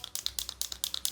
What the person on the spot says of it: When you shake it, you'll be able to hear that sound. That's going to help the inkflow